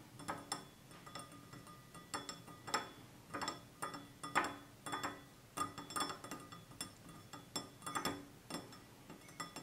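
A hand-sized, apparently empty stemless wine glass of clear glass with a red band at the bottom is held and tapped with fingertips and short nails. It gives an irregular series of quiet, bright clinks and ticks with a short glassy ring around 1.2 kHz.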